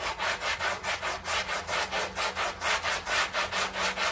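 A long-handled round brush scrubs back and forth across a small, heavily dirty and muddy flat woven rug covered in soapy foam. Steady, rhythmic strokes come about twice a second, each a bright, scratchy swish with a fizzy hiss and almost no low end.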